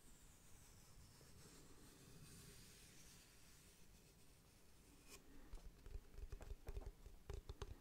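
Fingertips scratch and tap the flat face of a long, solid, light-coloured wooden or particle-board block, about 30 cm, held upright in one hand. Soft, steady scratching fills the first five seconds, then short, dull, low-pitched taps come in an uneven rhythm and grow louder toward the end.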